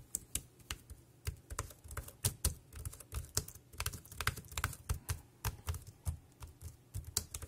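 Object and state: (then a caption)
Plastic keyboard. Fingertips type rapidly on a compact dark grey plastic wireless Bluetooth keyboard with round keys and a hollow body, resting on a black plastic bag. A quick, uneven run of sharp, bright key clicks is heard, each with a short, dull low thump and almost no ring.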